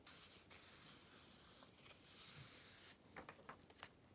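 Fingertips with long red nails rub across the pages of an open glossy paper Vogue magazine, the Activism Now issue, resting on black fabric, and flip them over. A steady, bright, hissing rub fills the first three seconds, then quieter stretches are broken by short, crisp paper crackles and taps as the pages turn.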